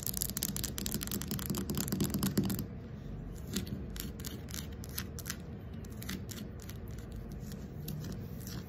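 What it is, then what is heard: Carved wooden ball scratched with nails. Long acrylic nails scratch and rub over a fist-sized, round carved wooden ball with inlaid light slivers and a hole, likely hollow. A dense, rapid run of scratchy strokes fills the first few seconds, then the sound drops to softer, sparser bright scrapes over a low rumbling background.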